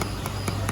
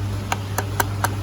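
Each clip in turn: First: plastic gun part, softer knock. Second: real steel gun receiver.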